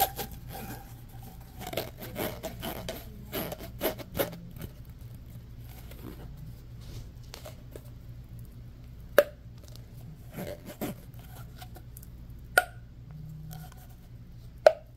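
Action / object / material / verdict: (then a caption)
scrape / corrugated plastic pop tube / plastic / none. Fingertips and nails rub and tap the ribbed surface of a hollow orange corrugated plastic pop tube as it bends. A busy run of crackling scratches and taps fills the first few seconds, then eases into quieter rubbing. Three sharp, bright clicks near the end stand out over a steady low hum.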